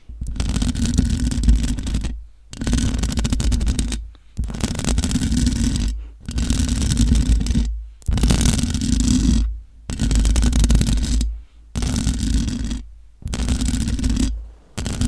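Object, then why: Metal mesh microphone grille. Long acrylic nails on both hands scratch and tap the hollow mesh grille of a black matte metal USB desktop microphone. The result is dense, rough scratching with a heavy low rumble, coming in bursts of one to two seconds separated by short silent gaps.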